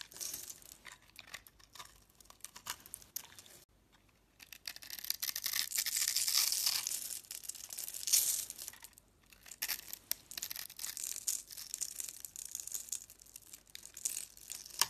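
A solid, pre-scored orange-and-yellow striped bar of soap is held in the hand and shaved into sticks with a utility knife blade. Dry, bright scraping and crackly cutting sounds fill the clip, with a brief quiet pause around four seconds and a louder, denser stretch of shaving in the middle.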